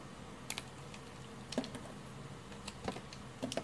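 A red-handled utility knife blade carves chunks and shavings from the edge of a solid cream bar of hard Lux soap held in the hand. Short, crisp scraping cuts and snaps stand out with bright edges over a quiet, steady hiss, each one dying away almost at once.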